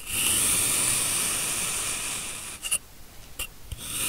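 A steel kitchen knife in a black-gloved hand cuts thin slices from a large, solid molded block of blue kinetic sand, using repeated slicing and scraping strokes through the packed sand. A steady, bright, gritty hiss runs for about two and a half seconds, then gives way to short, crisp scraping strokes with quieter gaps, before the hiss swells again at the end.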